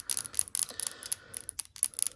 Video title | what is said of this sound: Airbrush Spring Crocus | I put a steel ball in here you hear it so when I shake it up